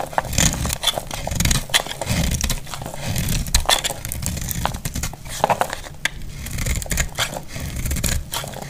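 A solid, dry purple bar of soap is held in the hand and shaved with a utility blade, with other untouched soaps lying nearby. Repeated crisp scraping strokes come with bright, sharp crackles and clicks over a soft low rumble, as thin shavings are cut from the bar.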